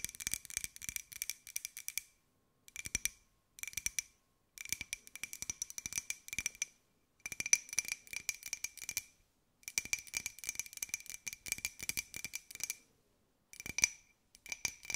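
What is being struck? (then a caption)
Small glazed ceramic jar. Long white nails tap and scratch rapidly on a small, hollow, white glossy ceramic pineapple jar tilted on its side. Bursts of quick, bright, clicky taps are separated by short silences, each with a faint high ring that dies away almost at once. There is almost no low end.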